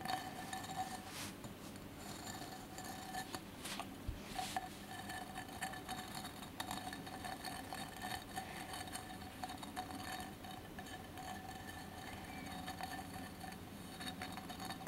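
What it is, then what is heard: Mosaic glass candle holder. Fingertips and nails of both hands tap and scratch the sides of a colored mosaic glass candle holder with a lit candle inside. The result is a steady run of quick, dry glassy clicks and scrapes over a constant low hum, with a faint ring near 750 Hz and brighter crackles in the high range.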